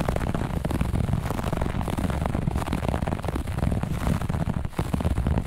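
Long nails on both hands scratch fast across a grey-beige looped pile carpet. The result is a dense, steady, rough scratching texture with a heavy low rumble, very little high end, and no clear gaps between strokes.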